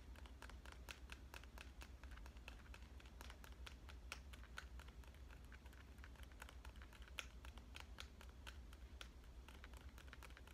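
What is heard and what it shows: A smartphone in a clear plastic avocado case is held flat and tapped on the case surface with fingernail tips. The result is a quick, irregular stream of short, sharp, bright clicks that die away almost instantly, over a steady low hum.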